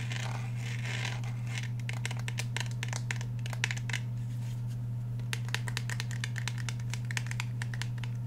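Fingernails tap rapidly on the steel slide and polymer grip of a handheld black Glock 17 pistol. The result is a quick run of crisp, bright clicks over a steady low hum that continues throughout.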